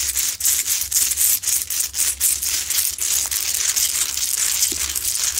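Long nails scratch aggressively across a lit, medium-sized, solid, rough Himalayan salt crystal lamp. The result is bright, dry, gritty scraping in quick, uneven strokes of about four per second, with a faint low hum underneath.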